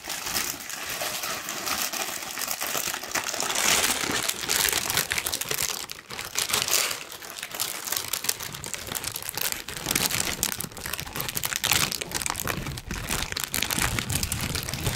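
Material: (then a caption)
Paper. A large, thin, wrinkled pink tissue paper sheet is lifted, stretched and crumpled with both hands and fingertips. Dense, bright crinkling and rustling continues for the full clip, swelling and easing in louder bursts.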